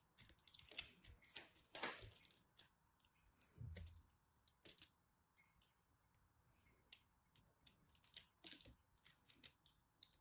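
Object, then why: Pressed soap chunk. A small, solid, glittery pressed soap chunk is held in the fingertips and cut with a craft knife blade. The cuts make quiet, crisp, bright clicks and crackles in quick, irregular bursts, with a few soft, low thuds in between.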